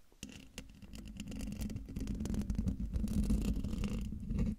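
Long dark fingernails scratch the hollow metal mesh grille of a silver microphone. The result is a dense, rapid, scratchy rasp with a heavy low-end rumble and a faint steady hum, growing louder after a few sharper initial taps.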